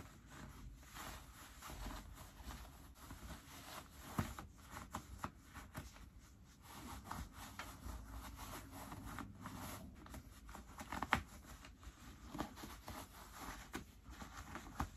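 Fingers slide into the front pockets of light-wash ripped cotton denim jeans and pull at the waistband and pocket fabric. The result is quiet, continuous rubbing and scratching of cloth over a low rumble, with occasional sharper brushes and snaps standing out.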